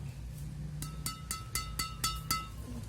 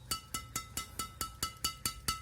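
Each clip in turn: First: badminton racket string bed, bright ringing ping. Second: badminton racket string bed with a bright, short ring.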